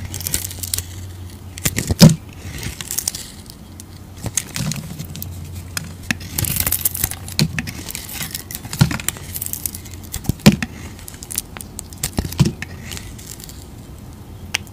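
A utility knife blade peels and scrapes thick curls off a rectangular solid beige soap bar, held in the hand, with a green-dotted and blue painted coating. Soft, crinkly scraping and shaving sounds run over a steady low hum, punctuated by a few sharp, bright snaps and clicks as the blade cuts through.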